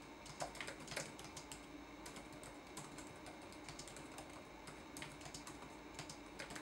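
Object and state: Plastic laptop keyboard.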